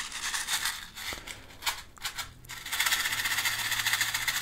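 A small, clear, hollow plastic clamshell box, partly filled with small colorful beads, is held in one hand and shaken and tilted. The pieces rattle against the plastic walls in bright, gritty bursts that swell and fade. Then they settle into a steady, dense, hissing rattle for the last couple of seconds.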